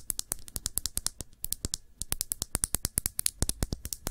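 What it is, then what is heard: Glass nail polish bottle. A small, full glass nail polish bottle with a black cap is held in the fingers and tapped quickly with long nails. About three dozen sharp, bright clicks come in an uneven, rapid run, each with a dull low knock beneath it. Every tap dies away almost instantly, with no ringing.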